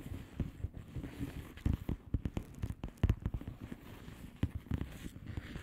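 Long polished nails on both hands tap quickly and irregularly on the bubbles of a flat, hollow plastic bubble-wrap mailer lying on a surface. The taps are soft, short, dull and low-pitched, with a faint crinkly rustle, and each dies away almost instantly.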